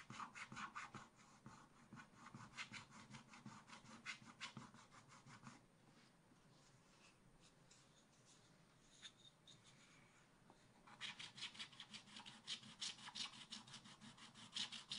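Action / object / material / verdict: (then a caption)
scrape / coated scratch-art paper sheet scraped with a wooden stylus / coated paper / none. A wooden stylus scratches away the black top layer of a thin coated scratch-art paper sheet in a spiral-bound book lying flat on a board backing, while the other hand holds the page. Rapid, bright, raspy scratching strokes fill the first five seconds, give way to a quieter stretch with only faint scrapes, then return in quick bursts near the end.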